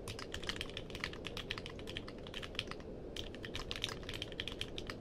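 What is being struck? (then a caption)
Mechanical keyboard with plastic keycaps. Fingertips type steadily on a compact mechanical keyboard with a purple case and plastic keycaps. A rapid run of short, bright, clacky keystrokes plays over a steady low background rumble, with a brief lull a little past the three-second mark before the typing resumes.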